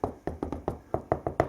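Knocking on a lower section of a wall identified as plasterboard that needs repair. Nine short, dull knocks sound in quick succession, each with a hollow mid-range thud near 650 Hz and almost no ring.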